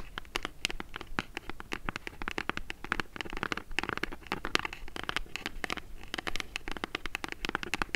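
Long nails rapidly tap and scratch the printed front of a small, hollow brown kraft cardboard mailer box held in the hands, during a Zinff sunglasses unboxing. The result is a dense stream of crisp, dry clicks and scratchy rasps that stop instantly with no ring.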